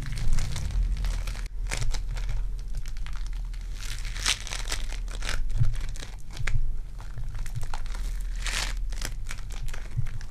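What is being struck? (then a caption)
Foam bead clay. Purple foam-bead clay is squeezed in both hands with long dark nails and pulled apart, giving dense crackling, crinkling and tearing sounds over a steady low rumble. Bright bursts of crunching rise and fade throughout the clip.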